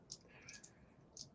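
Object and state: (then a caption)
Metal game pieces clinking in a bag. Metal game pieces from the boxed set of Holler: An Appalachian Apocalypse are jangled inside a small burlap bag, making five quick, bright, high-pitched clinks. The crisp clink marks the pieces as metal rather than plastic.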